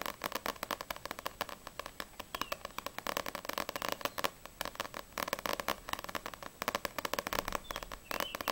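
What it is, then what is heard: Paperback book, fingernail tapping. Long grey-painted acrylic nails fast-tap the glossy printed card front cover, then the back cover, of a single small paperback manga volume (No.6) with a solid stack of paper pages. The result is a steady stream of rapid, dry, clicky taps centered in the midrange with some bright edge, very little low end, and almost no ring after each tap.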